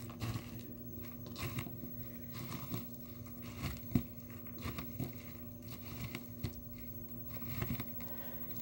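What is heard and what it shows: Dry blue soap flakes in a small clear plastic tub are pounded and crushed with the bottom of a small glass nail polish bottle. Quiet, dull thuds and soft crunchy crackles repeat unevenly over a steady low hum, with one sharper knock near the middle.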